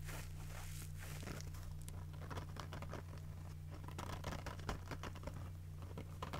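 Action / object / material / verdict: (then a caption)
scrape / foam kitchen sponge with scouring pad / foam / none. A yellow foam kitchen sponge with a green scouring pad, held in one hand, is squeezed and scratched with fingers and nails, producing dense, quiet crinkling and scratchy crackles. The short bright bursts ride over a steady low hum throughout.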